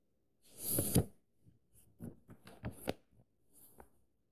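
Fingertips and nails trace and scratch across the thin printed paper pages of an open paperback book and lift the page edges. A longer soft papery rustle is followed by several short dry scratches and taps, with a bright hiss over a low thump.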